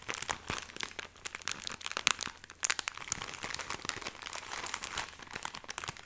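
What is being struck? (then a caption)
Soft plastic film package of cotton pads. A full, hand-length cylindrical Cotoneve pack of cotton pads in soft plastic film is held in both hands, squeezed and scratched with long painted nails, its top appearing opened. The result is quiet, bright, dense crinkling with rapid sharp crackles throughout, over a faint low hum in the first half.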